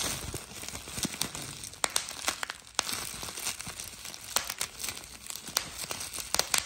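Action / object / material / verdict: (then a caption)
squeeze / plastic bubble wrap sheet / plastic / none. A hand-held sheet of clear plastic bubble wrap with air-filled bubbles is squeezed between thumb and fingertips. The bubbles pop in sharp, bright snaps over a steady crinkling of the plastic sheet.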